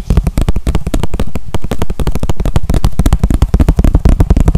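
A small, clear, hollow plastic container, apparently empty, is held in the hands and tapped and scratched with fingertips and nails. It produces a fast, uneven stream of dull, low, thumping taps with short, dry decays and faint scratchy ticks between them.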